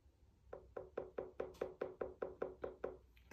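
Twelve steady, evenly spaced knocks sound on the trimmed bottom of a 6-inch leather-hard clay bowl on the wheel, each a short, dull, drum-like tap with an audible low vibration. Another knock begins at the very end. The drum-like resonance shows the foot is properly trimmed, so the thickness can be judged by ear instead of with a measuring tool.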